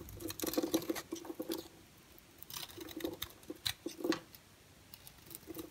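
A solid orange and white striped bar soap, held in the hand, is scraped with a utility knife blade, shaving off dry, crumbly flakes. Quick, bright, gritty scrapes come in clusters separated by short quiet pauses, with a faint low tone around 330 Hz under each stroke.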